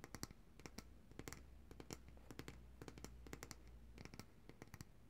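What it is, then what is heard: Glass jar of coconut oil. Long dark-painted nails tap and scratch the glass sides and paper label of a large glass jar of coconut oil, full of white solid oil and held upright in both hands. Quick, sharp, bright clicks come in irregular clusters with faint scratching between them, over a quiet steady low hum.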